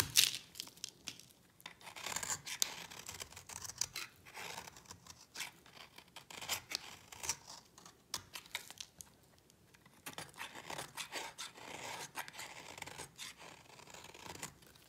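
A solid orange bar of dry soap, held in the hand, is shaved along its edge with a yellow-handled utility knife, and fine powdery shavings fall onto a patterned mat. The clip is full of quiet, dry, bright scraping strokes, each a short crisp rasp with almost no low end, coming in uneven bursts with brief pauses between them.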